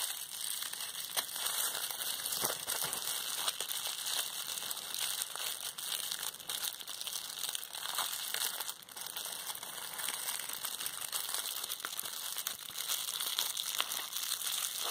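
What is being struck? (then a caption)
Plastic bubble wrap. Clear plastic bubble wrap, rolled into a small tube and folded into a bundle of hollow air bubbles, is squeezed between fingertips with long red nails. It gives a steady, bright crinkling with scattered sharp pops, with almost no low end.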